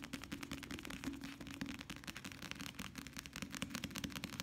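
A small softcover paperback novel, "La vieja sirena," with a paper cover is held upright, solid, and rapidly tapped with the fingertips of both hands. The result is a fast, continuous stream of dry, papery taps with a low body near 270 Hz and bright flicks on top, each tap dying away almost instantly.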